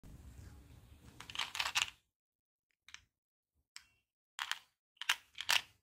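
A small purple plastic Skittles Wild Berry tube, hollow and filled with hard-shelled candies, is held in both hands, turned and shaken so the candies rattle inside. A soft, rising rattle builds over the first two seconds, then after a pause comes a series of short, bright, crisp bursts of clicking candy with almost no low end.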